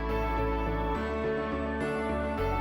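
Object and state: Nothing is struck.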